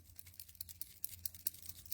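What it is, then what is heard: Ball bearing rattling inside a shaken ink pen. A sapphire shimmer brush pen, a plastic ink pen with a metal mixing ball bearing inside, is shaken, producing about 13 quick, bright, high-pitched rattling clicks over a steady low hum. The ball bearing rattling freely is normal and shows the shimmer ink is being mixed.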